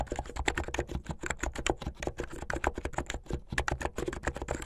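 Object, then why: Plastic mechanical keyboard. Fingertips and nails type quickly and continuously on a backlit plastic mechanical keyboard with white and blue plastic keycaps. The result is a steady stream of short, dry clacks, each with a bright click and a soft low thump beneath it.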